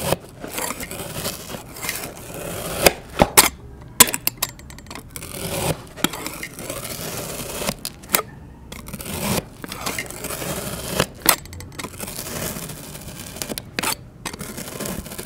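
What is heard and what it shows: A metal knife fitted with a clip-on microphone makes repeated horizontal slicing and scraping cuts into a solid round puck of pink kinetic sand resting on an MDF board. Each cut gives a dry, gritty, bright crunch and scrape, separated by brief quiet gaps and a few sharper snaps.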